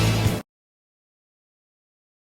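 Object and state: Nothing is struck.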